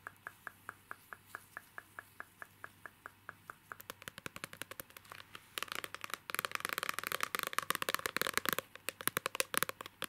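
A small, rigid, hollow clear plastic case holding an illustrated card of a girl is held in both hands and tapped with fingernails and fingertips. It starts as slow, evenly spaced light clicks, then the tapping speeds up into a dense, bright, crackling patter that grows louder toward the end. Each tap is short and dry, with almost no ring.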